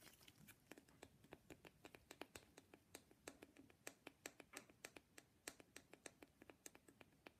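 Fingernails tap rapidly on an authentic wooden matryoshka nesting doll, making a quiet, steady stream of dry, bright clicks. Each tap stops almost instantly with no ring, and the taps vary slightly in loudness over a faint background hiss.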